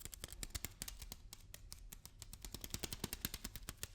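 A package of lentils is tapped and handled with a rapid run of short, dry taps. Each tap gives a bright click over a soft low thump and dies away almost at once, all at a quiet level.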